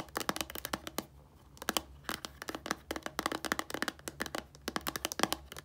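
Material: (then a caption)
Plastic. Long nails tap and scratch the label of a small, hollow white plastic shampoo bottle that is filled. The result is a rapid series of sharp, dry clicks and crinkly scratching that stops short with no ring, over a faint low hum.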